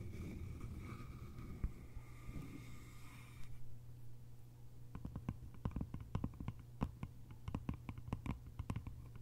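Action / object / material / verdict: tap / small bamboo container with lid / bamboo / none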